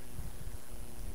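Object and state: Nothing is struck.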